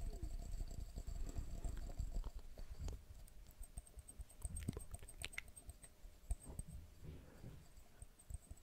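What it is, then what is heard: Glass jar. Fast, uneven tapping on a glass jar gives a quiet run of soft, short clicks with a dull low thud under each tap. Faint high, bright ticks ring briefly above them.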